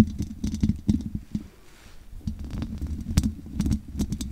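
Long nails scratch and tap on the hollow metal mesh grille of a large USB condenser microphone with no windscreen. The result is a close, low-heavy run of dry scrapes and quick taps around a mid-low tone, with faint bright ticks and a brief quieter scratchy stretch in the middle.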